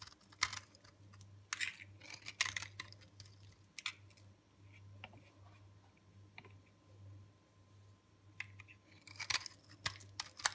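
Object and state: Hard, dry soap bar.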